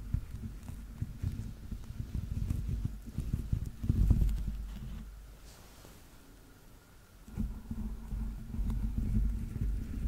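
A yellow Teletubby plush toy is held sideways close to the mic while fingernails tap and scratch the grey dotted rubber soles of its soft stuffed feet. The result is a dense, muffled, low-pitched patter of quick irregular taps and scrapes. It pauses into quiet for about two seconds midway, then resumes.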